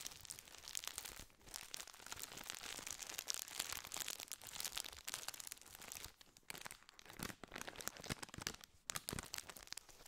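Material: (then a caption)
Metallized plastic. A full, gold foil-lined metallized plastic biscuit tube wrapper is crinkled and squeezed with fingers. The result is a dense, bright, continuous crackling and crinkling with very little low end, broken by a few brief near-silent pauses.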